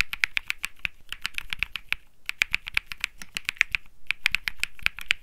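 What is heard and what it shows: Fingertips type continuously on a cream Think 6.5 mechanical keyboard with Bsun Lollipop switches and plastic keycaps, producing about 34 sharp, clacky key presses. The clicks are bright and dry, centered near 2.3 kHz with a soft low thock beneath. They stop almost instantly after each strike, with brief pauses around 2 and 4 seconds.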